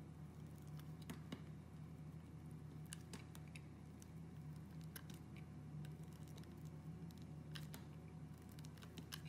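A hand-sized solid red glycerin soap bar with white flecks, held in fingers with long red nails, is shaved with a utility knife blade that scrapes off thin curling strips. Faint, soft scraping and small crisp ticks sit over a steady low hum. The level stays quiet and even throughout.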